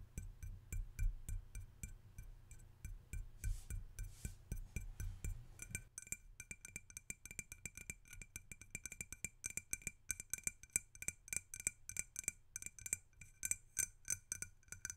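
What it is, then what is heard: Ceramic salt shaker. A hollow, hand-sized red glazed ceramic mushroom salt shaker, its cap dotted with yellow and pierced with holes, is held and tapped on its glossy dome with fingertips and short nails. Quick, irregular taps make short, bright clinks that die away almost at once. Soft low thumps run beneath them for the first six seconds, then the clicks turn sharper and denser.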